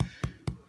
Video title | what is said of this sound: Wild Franko's no knead cranberry almond bread | If it sounds hollow, that means it's ready to go.